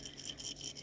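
A sealed glass jar of dehydrated celery is shaken to check that no moisture is getting in, giving a brief, bright, dry rattle of loose pieces with almost no low end. The pieces move freely, indicating the celery is still dry.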